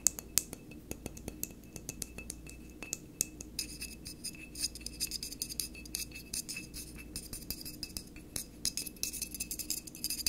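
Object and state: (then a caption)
Glass wine bottle. Fingertips and nails tap and scratch the neck and shoulder of a full, dark glass wine bottle held on its side on a table. The result is a steady stream of quick, bright glassy clicks and scrapes that stop at once with no ring, over a faint, constant low hum.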